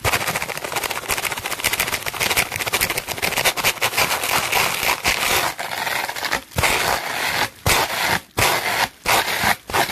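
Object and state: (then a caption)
Plastic bubble wrap brushed. A red-bristled hairbrush held in hand is scrubbed fast across a sheet of clear plastic bubble wrap lying flat. It makes a dense, bright, crackling scratch of rapid strokes. Short silent gaps break up the brushing toward the end.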